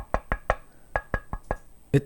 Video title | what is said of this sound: The Mod That Saved the Keychron Q1 | it doesn't sound horrible when you knock it